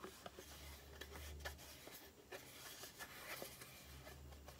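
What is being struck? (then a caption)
Small cardboard cream box. Long painted nails tap and scratch the top and sides of a small, hollow, closed cardboard Aloe face-cream carton. Several light, bright taps stand out over a soft scratching rustle, with a steady low hum underneath.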